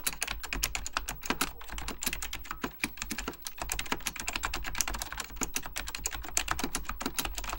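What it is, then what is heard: Plastic mechanical computer keyboard. Fingertips type rapidly on an Apple Extended Keyboard II, a plastic mechanical computer keyboard with beige plastic keycaps and a hollow plastic case. A dense, steady stream of short, bright clacking key taps comes through, each dying away almost at once, with a low hollow thud under the clicks.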